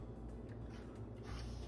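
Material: Nothing is struck.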